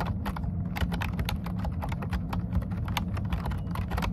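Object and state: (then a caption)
Plastic computer keyboard being typed on. Both hands type fast with short-nailed fingertips on a plastic computer keyboard with dark keycaps. A steady run of quick, crisp key taps comes over a constant low hum, with each tap dying away almost instantly.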